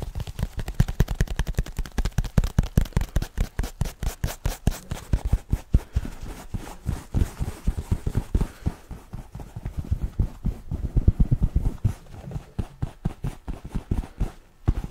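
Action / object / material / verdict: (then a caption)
tap / soft fabric headphone pouch / fabric / none. Fingertips and nails quickly tap and scratch a soft, hollow black fabric headphone carrying pouch. It makes a fast, steady stream of dull, low, muffled thumps that stop short, with a faint fabric scratch between them.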